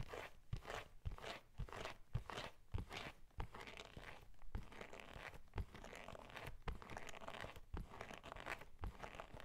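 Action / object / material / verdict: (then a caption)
tap / leather-covered journal / leather / none. A closed brown leather journal with an embossed cover is held upright while its cover is tapped and scratched with fingernails. Irregular soft, dull taps punctuate a steady crunchy, papery scratching texture throughout. Each tap dies away almost at once, leaving the scratching to carry on underneath.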